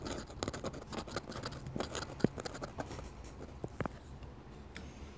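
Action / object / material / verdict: scrape / metal dip pen nib on paper / paper / none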